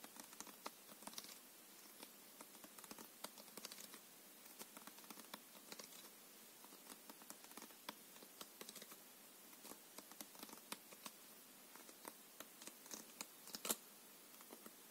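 A paper playing card deck is held edge-on in both hands while fingertips repeatedly riffle and flick its edges. The result is a quiet, steady run of dry, crisp ticks and soft papery patter, bright with almost no low end, each click dying away almost instantly.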